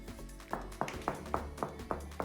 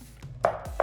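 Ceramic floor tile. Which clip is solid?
The first.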